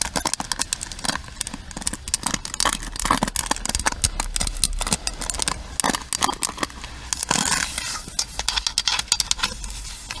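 Long nails tap and scratch the pins and frame of a pink plastic paddle hairbrush. The result is a dense run of quick, bright clicks and crackly scrapes with no ring-out, over a faint low hum.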